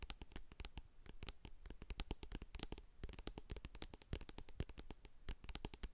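Long acrylic nails tap and scratch the sides and silver lid of a medium hand-held plastic jar of hair co-wash, full of white cream. A rapid, steady stream of quiet, dry clicks with a dull low body and bright ticks dies away almost instantly, mixed with soft scratching between the taps.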